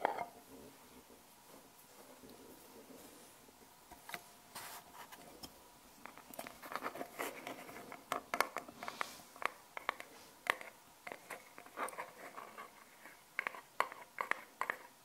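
Long painted nails tap on the lid of a small, round, hollow silver metal tin held in the hand, a tin that may hold magnetic balls. After a few quiet seconds of faint soft rustling, sharp, bright, clicky taps begin. They grow denser and louder from about the middle onward, each one dying away almost instantly with a thin metallic tick.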